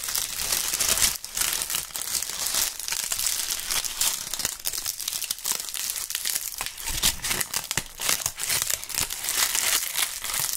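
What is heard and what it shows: Large dry brown maple leaves held in fingerless-gloved hands are crumpled and crushed by fingers close to the microphones. A steady, dense, bright crackling and crunching runs throughout, with almost no low end and only brief dips between handfuls.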